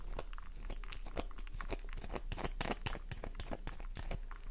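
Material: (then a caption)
Soap. A solid pink flower-shaped bar of soap held in the palm is scratched rapidly with long nails, giving a fast run of dry, crunchy, crinkly scrapes with sharp bright clicks. The surface is left cross-hatched and shedding flakes.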